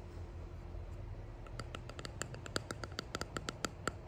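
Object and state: Resin box tapped with fingernails.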